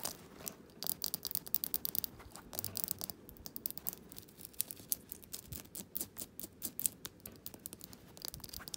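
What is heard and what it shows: A small glass jar candle filled with solid wax is held in the hands while fingernails tap and scratch its glass sides and the paper label on its bottom. Dozens of quiet, bright, crisp clicks and ticks come in quick irregular bursts over soft scratchy rustling, each stopping dead with no ring.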